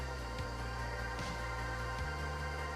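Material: Nothing is struck.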